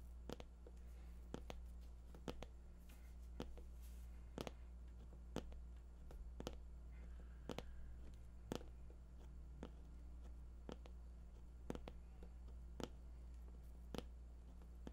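Fingertips tap repeatedly on the top surface of a glossy white printed cardboard box. The short, dry taps come at an irregular pace over about fifteen seconds, each dying away almost at once. A steady low hum sits underneath them.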